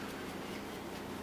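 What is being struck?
Nothing is struck.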